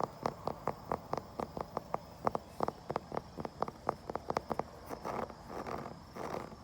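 A wooden surface is tapped outdoors with around two dozen quick, dry knocks in a mid-pitched, woody tone that stop almost instantly. The tapping then gives way to softer, rustling scratches across the wood, with a faint steady high tone in the background.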